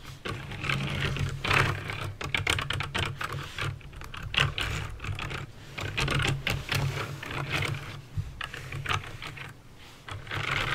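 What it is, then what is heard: Mechanical keyboard with clicky switches. Fingertips with painted nails type quickly on a backlit plastic mechanical keyboard with clicky green switches, seen close up. Dense, bright clicks and clacks come in uneven bursts over a steady low hum.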